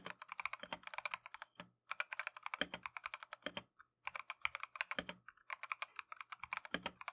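A Keychron V1 compact mechanical keyboard with Tangerine switches and green and white Matcha plastic keycaps is typed on continuously with gloved fingertips. Quick, crisp keystrokes come in rapid bursts with brief pauses, giving a bright, clacky sound centered around 2 kHz with almost no low end and very short decay.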